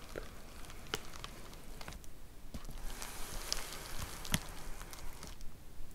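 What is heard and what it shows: Long nails tap along the top edge and surface of a white plastic poly mailer envelope with a box inside, lying flat. The result is a soft, uneven run of light crinkly taps and brief bright clicks over a low, quiet rustle, each tap dying away almost instantly.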